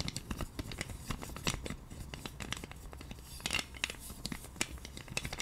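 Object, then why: Plastic massage roller with spiky wheels. A pink plastic massage roller with white spiky plastic wheels is held in both hands while the wheels are scratched and the handle is tapped with long nails. A quick, uneven run of sharp, bright plastic clicks and scratchy rasps plays over a soft low hum, each tap dying away almost at once.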